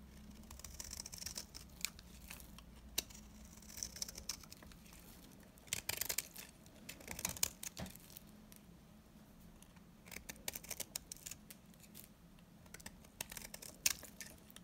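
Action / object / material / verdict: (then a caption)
scrape / bar of soap scraped with a knife blade / soap / none. A small metal knife blade shaves and scrapes the surface of a single old, very dry, solid yellow-green bar of soap, hand-sized and held in one hand, in repeated short strokes that produce crumbly flakes. Quiet, dry, bright scraping and crisp crumbly crackles come in irregular bursts over a faint, steady low hum.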